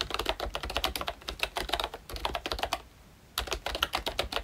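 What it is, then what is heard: Plastic membrane keyboard. Fingertips of both hands type continuously on a full-size Royche Disney Mickey Mouse retro membrane keyboard with round plastic keycaps. The result is a rapid run of short, bright, clattery plastic key clicks, with a brief pause near the three-second mark before typing resumes.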